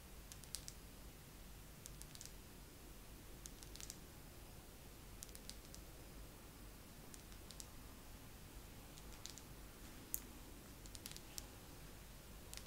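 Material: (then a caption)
Wax. Fingernails tap slowly on a wax pillar candle in a second round of tapping. Short, dry, bright clicks come in small clusters with quiet pauses between them, over a faint low background hum.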